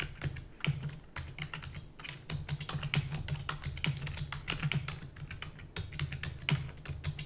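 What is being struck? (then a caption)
Plastic computer keyboard. Rapid typing with fingertips and long natural nails on a full-size black plastic computer keyboard with plastic keys and a hollow housing. The dense, uneven stream of sharp, bright clacks dies away almost instantly, over a steady low hum.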